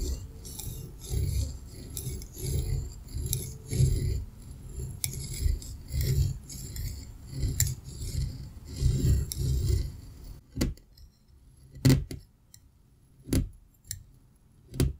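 A metal pizza cutter wheel rolls through a solid green kinetic sand slab, cutting it into strips with dense, gritty, low crunching slices and a faint bright hiss for about ten seconds. The sound then thins to near silence broken by a few separate sharp cuts as the slab is sliced.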